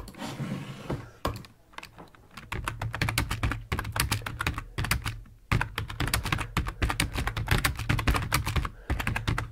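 Fingertips of both hands type on a full-size black plastic computer keyboard resting on a wooden desk. Rapid clicky keystrokes come in bursts with a low thud under each press, separated by brief pauses.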